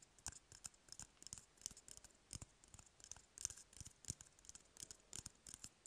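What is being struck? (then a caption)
Cardboard toilet paper roll. Fingernails scratch and tap on an empty, hollow cardboard toilet paper roll in a quick, uneven run of dry clicks and scrapes. The sound is quiet, bright and crisp, and each tap dies away almost at once with no ring.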